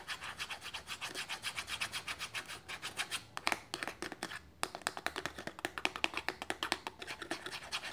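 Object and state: Paperboard box flap.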